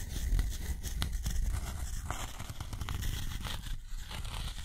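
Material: Cotton paper.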